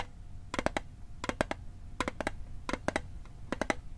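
A metal Altoids mint tin is tapped in quick bursts of three or four taps, with short pauses between them. Each tap is a short, hollow metallic click with a ringing tone near 620 Hz and bright overtones that die away almost at once. A faint low hum sits underneath.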